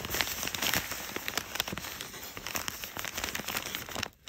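Fingertips with short nails stroke and scratch along the folds of pleated, crumpled brown kraft packing paper. A steady stream of bright, dry crinkles and scratchy crackles with small sharp peaks continues throughout, then drops away to near silence just after four seconds.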